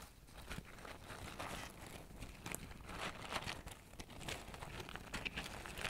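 Fingertips reach inside a medium brown kraft paper bag, hollow and open at the top, held in front of a microphone, crinkling and rustling its paper walls. The result is a steady, quiet, dry crinkle with frequent sharp, bright crackles and short crunchy bursts throughout.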